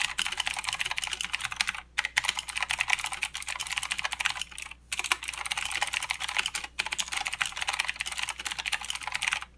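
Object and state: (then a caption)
Plastic mechanical keyboard. Fingertips of both hands type continuously on a full-size mechanical keyboard with plastic keycaps and blue clicky switches. Rapid, bright, sharp clicks patter densely with very little low end, broken by brief pauses near 2, 5 and 7 seconds. Each click stops almost instantly, leaving a dry, crisp typing texture.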